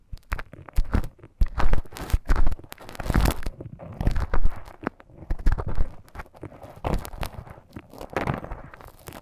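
A thin bamboo stick scratches inside the ear canal of a life-size soft silicone ear model. The result is a steady run of close, crackly scraping and crunching bursts, heavy in low rumble, rising and falling in loudness with brief pauses between strokes.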